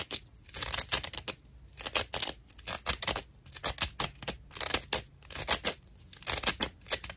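A dry natural loofah sponge is held edge-on while its fibrous rim is scratched with fingernails. Irregular bursts of rough, bright, crackly scratching start and stop in quick succession, with short quiet gaps between strokes.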